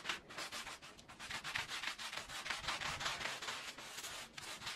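A small oval, red patterned, fringed woven fabric rug lies wet and foamy on the floor and is scrubbed with a green plastic-bristle push broom. Rapid back-and-forth bristle strokes make a steady, bright, hissy rubbing and sanding sound with little low end.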